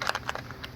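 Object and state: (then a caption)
Worn motorcycle compensator, rattling loose. A worn metal motorcycle engine compensator, a spring-plate assembly being removed, is shaken and gives five short, bright metallic rattles. The loose rattling shows it is worn out, since a new compensator does not rattle.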